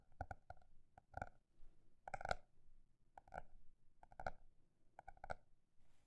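A paper notebook is tapped in a mix of quick and slower strokes, producing soft, hollow taps that come in small clusters. Each tap has a dull low thump with a faint tonal ring around 700 Hz and dies away almost immediately, leaving a quiet background between groups.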